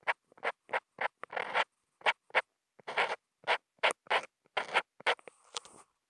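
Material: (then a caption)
Paper. A black Posca marker nib, held in the fingers and picked up by a contact mic on the marker, draws short scratchy hatches and dots on a flat sheet of thick white Kent paper. The result is a quick series of dry, bright scratching strokes and ticks, some brief and some drawn out, separated by short silences.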